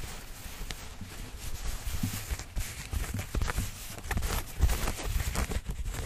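Fingertips and nails scratch light-wash denim jeans, a flexible cloth with a pocket and seams, held up behind the microphone. Continuous soft scratching and rubbing sit over a heavy low rumble, broken by brief, brighter scrapes that swell and fade.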